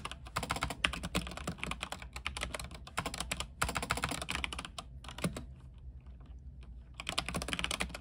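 Fingertips of both hands type rapidly on a full-size mechanical keyboard with white plastic keycaps on a silver frame and RGB backlighting. Dense, bright, clicky keystrokes run in quick bursts, thin out to sparse taps in the middle, then pick up again over a steady low hum.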